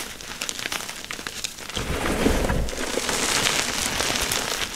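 Bare hands press, scrape and scoop a spread layer of powdery crushed gym chalk (magnesium carbonate) piled in a container. Soft, gritty crunching and crackling run throughout. Near the two-second mark it turns louder and denser with a fuller low rumble, and bright crinkly grains keep sounding to the end.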